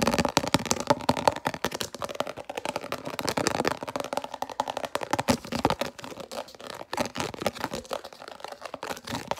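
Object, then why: Plastic food container lid. A translucent red round plastic food container lid with concentric ridges is held in both hands and rapidly scratched and tapped with long natural nails. The result is a fast, irregular stream of dry, crackly clicks and scrapes with very little ring. A faint midrange tone sits under the scratching.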